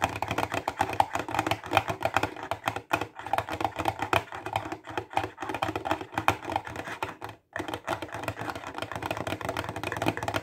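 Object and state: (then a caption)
Plastic highlighter case. Fingertips and nails tap fast along the top edge of a clear plastic box full of highlighters. The result is a rapid, dense stream of dry, clicky taps that stop almost instantly, with a mid-range knock around 790 Hz. The stream breaks briefly near 3, 5 and 7.5 seconds.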